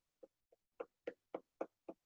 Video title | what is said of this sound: #RRCOOKINGCAMP - BLUEBERRY WATERMELON POPS WITH CARLA HALL | do you hear that yeah that hollow thumping